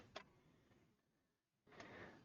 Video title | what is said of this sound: Kapps Kreations Live Stream | use your finger and tap on it you can hear where it's where there's more material at